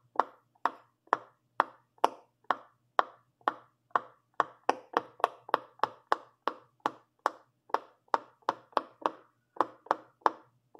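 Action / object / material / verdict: tap / silicone pop-it fidget toy / silicone / none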